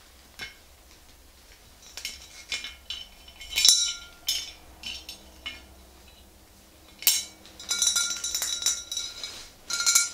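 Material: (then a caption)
Glass. Long green nails on both hands tap the glass body of a tall, clear swing-top bottle filled with pale yellow liquid. The result is a series of irregular, bright clinks, some single and some in quick clusters. Each has a sharp, high ring that fades quickly.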